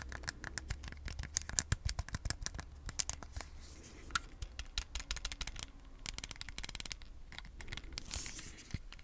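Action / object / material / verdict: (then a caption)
tap / small plastic game controller / plastic / none. A single small, hollow red plastic Joy-Con controller is held in both hands while fingers tap and scratch it and press its buttons. Quick, dry clicks and taps with bright, crisp scratching come over a low, steady background hum. The sound is close and quiet, with no ringing after each tap.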